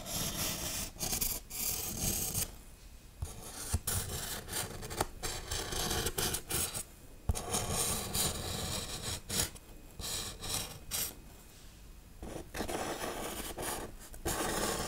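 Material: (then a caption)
Foam. Long nails scratch and rub across the textured, carved surface of a large grey-black foam Halloween tombstone prop with RIP lettering. The result is dry, bright rasping in quick irregular bursts, broken by short quiet pauses.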